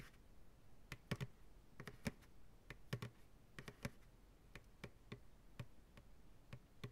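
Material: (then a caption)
Plastic. Fingertips and nails tap the sides of a medium white plastic ice cream pail, hollow and empty, held upside down in the hands. About nineteen short, separate taps land at an uneven pace, each a dry, hollow knock with a low body near 130 Hz and a quick click on top that dies away almost at once.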